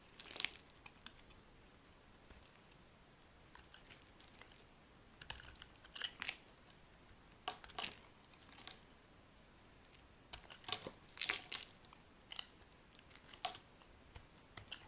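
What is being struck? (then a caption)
Soap bar scraped with a metal blade. A solid blue and white striped soap bar is carved and scraped with a metal blade, and curls break off. The sound is a quiet run of bright, dry crinkling scrapes and short crunchy clicks spread across the clip, with dense clusters around a few moments and almost no low end.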